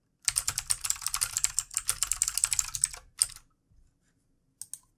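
Both hands type rapidly with their fingertips on a full-size, backlit plastic mechanical keyboard with plastic keycaps and a hollow housing, resting on a desk. Bright, crisp clacks come in a fast, uneven burst for about three seconds. A few isolated taps follow after short pauses.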